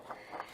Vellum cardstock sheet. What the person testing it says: It's a little bit thicker, and that makes it just perfect for molding to shape it into the flowers.